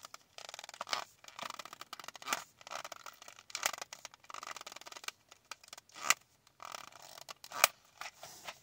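Long nails tap and scratch a small, flat Kiss press-on nail package that has a cardboard backing and a plastic blister front holding the nails. The sound is a run of dry, bright scratching and crinkling bursts with short pauses between them, and a few sharper taps stand out near the end.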